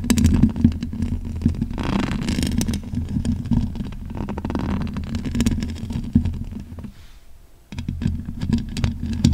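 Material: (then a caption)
Metal mesh. Long pink acrylic nails and fingertips scratch the bare, black, hollow metal mesh grille of a large condenser microphone. The result is a dense, rumbling scrape that is strongest in the low range, with a steady hum near 230 Hz and quick bright ticks on top. Near the end the scratching briefly pauses and drops quiet, then resumes.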